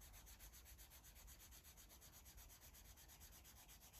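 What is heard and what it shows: A blue Sharpie felt-tip marker rubs across a thick stack of white pages in a paper coloring book lying flat. Rapid, repeated strokes make a steady, scratchy rubbing with a bright, hissy texture over a low rumble.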